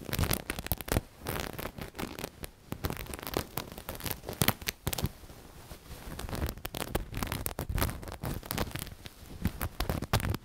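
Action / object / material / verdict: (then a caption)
scrape / knitted fabric cushion with sequin appliqué / knit fabric / none. A black knitted pillow with a sequin patch is squeezed and scratched with fingertips and long nails. Dense, crackly scratching and rustling come in quick, uneven bursts of sharp clicks, with a quieter stretch around the middle.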